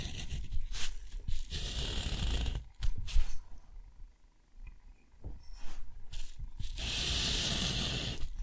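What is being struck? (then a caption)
Steel pen nib on thick watercolor paper. A steel nib scratches long straight lines across a sheet of thick, rough, white textured watercolor paper, forming a box. Each stroke is a dry, bright, tearing scrape with a low rumble underneath, separated by brief quiet pauses between lines.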